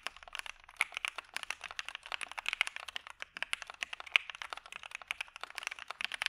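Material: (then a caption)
Plastic. A dark Maja mechanical keyboard with PE foam and white PBT keycaps is typed on continuously with the fingertips of both hands. It produces a rapid, steady stream of short, crisp, bright clacks with almost no low end and a quick decay.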